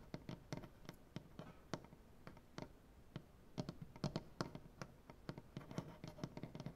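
Fingernails tap and scratch along the grain of a large, solid wooden butcher-block tabletop. The result is a quiet, uneven run of short, dry knocks with almost no ring, separated by softer scraping. Each knock has a low, woody body, and there are faint bright clicks on top.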